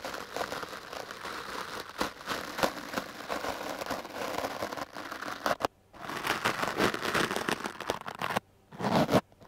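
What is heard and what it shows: The hard black bristles of a wooden clothes brush are drawn over a dark blue foam microphone windscreen. The result is a dense, scratchy, crinkling brushing noise, broad and bright, with quick strokes. It cuts to silence briefly twice before starting up again.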